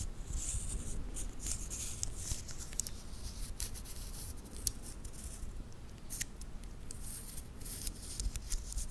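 A small titanium watch band with solid metal links is handled with fingertips and nails, its links flexed and clicked together. Quiet, scattered, sharp, bright clicks and light scratchy rustling sit over a steady low rumble, each click dying away almost instantly.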